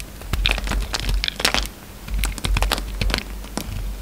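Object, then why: Bar of soap scraped with a knife blade. A utility knife blade carves a hand-held, solid peach soap bar into a shape and scrapes off flakes. It makes a quick series of crisp, bright scraping and crackling cuts that die away almost at once, over a steady low hum.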